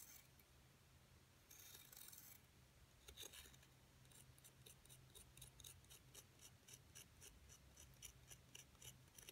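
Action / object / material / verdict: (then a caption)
scrape / plaster block scraped with a thin metal pick / plaster / none. A thin metal seafood pick, held in a hand with long gold nails, scratches and pokes the surface of a rectangular solid plaster excavation block with embossed hieroglyph-style lettering, lying on a dark cloth. Quiet, bright, dry scraping opens into a burst of rasping, then a quick, irregular run of short, crisp ticks and scratches over a steady low hum.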